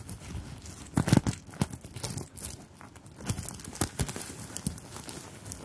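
Long pink-tipped nails tap and scratch across a small, soft fabric clutch purse covered in metal or plastic sequins and beads, held in both hands close to the microphones. The result is a dense, crinkly rustle of quick, dry clicks and scrapes, with louder bursts of tapping around the one-second and four-second marks.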